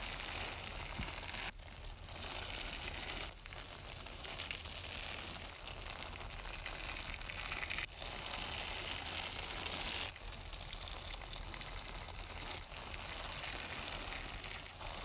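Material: Nylon.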